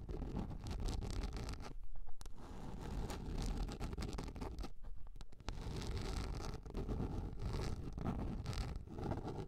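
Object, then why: Large round plastic container lid. Long nails scratch across the flat surface and raised ring of a large, round, yellow plastic container lid held upright. The result is a steady, dense, rasping scrape weighted toward a low rumble, with short quieter breaks near two and five seconds.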